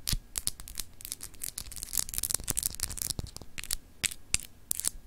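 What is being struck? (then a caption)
Glass globe paperweight. Long acrylic nails scratch across the surface of a palm-sized solid clear glass globe paperweight with frosted continents. A rapid, uneven series of short, dry, bright scratches and clicks with a faint low thump beneath them, each stroke dying away almost instantly.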